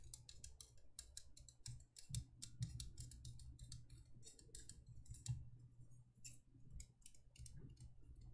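A small, empty, hollow cylindrical candle holder of thin embossed copper-toned metal is held and tapped and scratched with long painted nails around its patterned surface. A rapid, uneven run of short, bright ticks and clicks plays over a steady low hum, each tap dying away almost at once.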